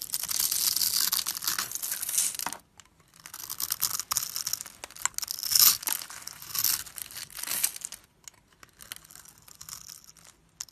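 A tall, solid yellow-beige translucent bar of soap is held in the hand while a metal blade cuts a grid into it and scrapes crumbly cubes off the top edge. Bright, dry scraping and crinkly crumbling come in dense bursts, broken by brief silent pauses.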